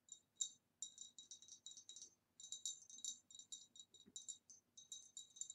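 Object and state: Glass vase.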